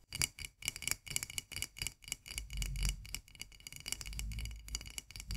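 Long nails tap and scratch fast on the flat white metal twist lid of a full glass jar of mandarin marmalade held upside down. Quick, bright clicks come in an uneven rhythm, with a thin high ring and a soft low thud under the taps. Scratchy rasps blur the taps together in places.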